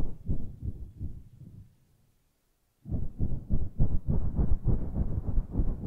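Long nails and fingertips stroke and scratch a grey, fluffy synthetic-fur microphone windscreen. The result is deep, muffled, rhythmic rubbing swishes that fade into a second of near silence, then return louder and denser with no bright edge.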